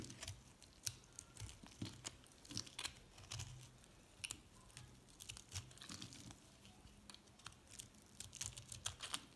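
A metal cutter blade scrapes and slices the surface of a white recycled soap bar with orange, pink and purple chips, held in the palm. Dense, crisp scraping and crunching clicks come in quick bright bursts over a faint low hum. The sound stays soft and close throughout.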